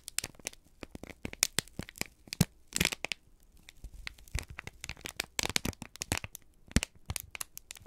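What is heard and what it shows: A folded, crinkled sheet of brown kraft paper is held in both hands and squeezed and crumpled with the fingertips. It gives off a dense run of sharp, bright crackles and crinkles, with a few louder snaps rising above quieter rustling between them.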